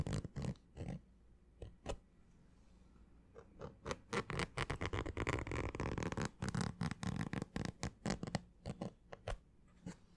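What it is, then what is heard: Fabric baseball cap, scratched. Fingernails scratch the fabric crown of a green structured snapback baseball cap with a stiff brim. Quick, irregular, dry scratching bursts come in uneven clusters, with a stretch of denser, continuous rubbing in the middle. The sound is quiet and short-lived, with a low, papery body.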